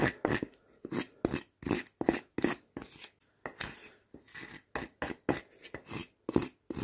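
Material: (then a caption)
Wood. Two hand-sized pieces of solid split firewood, one with bark and one of bare light wood, are rubbed, scraped and knocked against each other. The result is a quick series of short, dry wooden knocks and scraping bursts with very little ring and brief quiet gaps between them.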